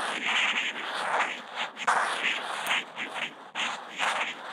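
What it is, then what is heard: Kent paper sheet. The felt tip of a Posca marker is scribbled in loops across a flat white sheet of Kent paper, picked up by a contact mic on the marker. It makes a continuous dry, scratchy hiss, mostly mid to bright, that swells and fades with each looping stroke. The sound breaks off sharply and restarts a couple of times as the tip lifts and lands again.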